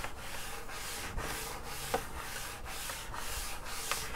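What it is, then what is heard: Wood-grain school desk top being scratched. Fingertips scratch and rub across the flat wood-grain top of a school desk, a large solid panel. A steady, soft, hissy scraping sweeps back and forth in repeated strokes, with a few faint clicks along the way.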